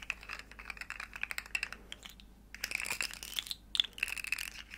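A small, hollow, rainbow plastic segmented slug fidget toy is bent and clicked by the fingers while long nails tap along its ridges. A rapid stream of crisp, bright plastic clicks and taps centers around 3.5 kHz, with almost no low end. A short, quieter pause comes midway before a denser burst of clicking resumes.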